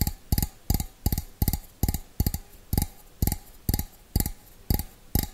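Fingernails tap the rim and outside of a small, hollow, empty stainless steel bowl held with its opening facing forward. They make a slow, rhythmic series of short, dull, low knocks, each with a bright clicky edge. Every tap dies away almost instantly with no lingering ring.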